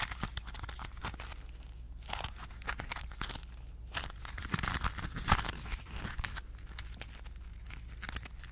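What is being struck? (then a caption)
Crumpled aluminum foil ball. A small crumpled ball of aluminum foil is scratched and crinkled with long nails, giving a dense run of crisp crackles, crinkles and tearing-like rustles with bright high edges. A few sharper crunches stand out around the middle, over a steady low hum.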